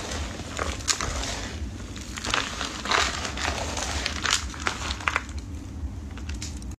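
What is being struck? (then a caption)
Heap of dry soap flakes and chunks. Bare hands and fingertips press, crush and rub a large heap of multicolored dry soap flakes and broken chunks in a plastic tub. The brittle pieces give off a steady stream of dry crumbling and crackling with sharp, bright snaps, over a low background rumble.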